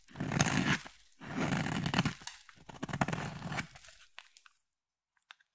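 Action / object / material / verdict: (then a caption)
scrape / soap bar shaved with a blade / soap / none. A utility blade scrapes a solid, palm-sized, cream-colored oval bar of soap, shaving off fine soap shavings. Three dense, crunchy scraping strokes, each about a second long with a low, gritty body, are followed by a few faint, scattered clicks as the sound fades.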